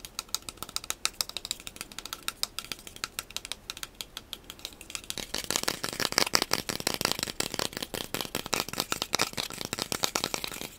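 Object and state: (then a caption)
Cardboard core tube, tapped. A hollow cardboard wrap core tube, held upright with its open end forward, is tapped quickly with fingertips and short nails. The taps are rapid, dry and bright, with almost no ring. They are softer and sparser for the first five seconds, then become louder and denser for the rest of the clip.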